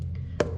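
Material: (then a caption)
Steel. Corroded steel in a sailboat's bilge is tapped twice, with one faint tap and then a sharper knock whose short, dull ring centers around 590 Hz over a steady low hum. The corroded hull steel sounds a bit soft, so more burring is needed to remove the corrosion, which looks a bit like mill scale on top of the steel.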